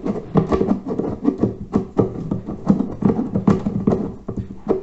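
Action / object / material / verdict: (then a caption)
tap / fired-clay water filter / terracotta / none. Fingertips tap and scratch the domed top and upper body of a large, hollow, reddish-brown fired-clay water filter with a red band and a FILTRO label. A quick, uneven run of dull, hollow knocks with a low-mid resonance mixes with soft scratching. Each tap dies away almost at once.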